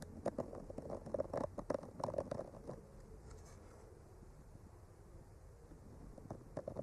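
A bamboo skewer with a clipped-on mic slowly traces across a flat, solid painted wooden art panel, making soft scratching and tapping sounds. Quick, uneven clusters of scratchy ticks with a faint midrange ring fill the first few seconds and return at the end, with a quieter, smoother scrape in between. The sound is dry and close, with almost no high-end hiss.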